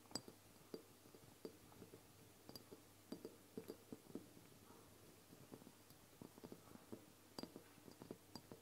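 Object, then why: Glass dropper bottle filled with oil. A medium amber glass castor oil bottle with a paper label and a black plastic dropper cap, standing on a wooden table and apparently filled with oil, is tapped on its sides by both hands with long painted nails. The result is a quiet, irregular series of quick, dry nail clicks, each with a bright glassy tick that stops almost at once without ringing.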